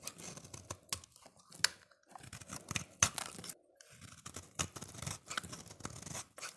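A solid orange translucent soap bar held in the hand is shaved and scraped with a utility-knife blade, peeling off curls. Irregular dry, bright scraping and tearing strokes are heard, each with a crisp edge and almost no ring, broken by brief pauses and a few sharper clicks. The sound stays quiet, with most of its energy in the high range.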